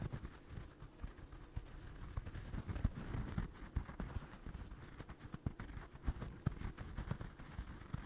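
Fingertips and nails scratch and tap the yarn surface of a small, soft, stuffed orange crocheted doll held close to the mic. The sound is a quiet, muffled rustle dominated by low thuds, with short dull taps popping out and almost no high end.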